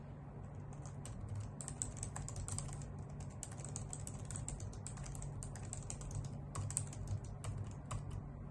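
Long nails and fingertips type steadily on a white full-size plastic computer keyboard with hollow key caps. A continuous run of quick, bright clacks rides over a steady low hum, with the keystrokes tapping out sharply and fading almost instantly.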